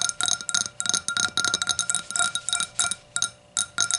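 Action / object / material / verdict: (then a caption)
tap / thin clear glass, upside down / glass / none. Long nails tap quickly on both sides of the thin wall of an empty, clear hurricane glass, striking its curved hollow bowl as it stands upside down on a towel. The result is a steady run of bright, high glassy clinks with tonal ringing that dies away almost at once between taps.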